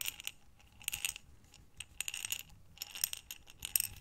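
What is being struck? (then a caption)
Glass jar filled with small buttons. A glass jar with a gold metal lid, full of small buttons, is rotated and shaken in the hands while long nails tap on the glass. Bursts of bright, high clinks and rattles come in short clusters, with quick ticks that die away almost at once over a faint low rumble.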